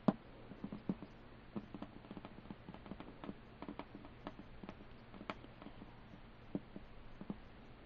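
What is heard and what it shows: Fingertips and short nails tap and lightly scratch the printed pirate-themed lid of a closed, hollow, medium-sized hinged wooden board game box lying flat. The result is a quiet, uneven patter of dull, low-pitched taps with a very short ring, and a few sharper knocks at the start and near the end.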